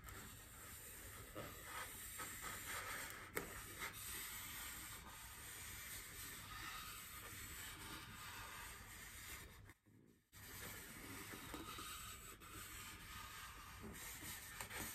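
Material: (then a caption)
Styrofoam. Long nails scratch and fingertips rub across a large white solid styrofoam wreath ring resting on a table. The result is a steady, dry, hissy scratching with a bright squeaky edge and faint rhythmic strokes, which stops briefly near the ten-second mark before resuming.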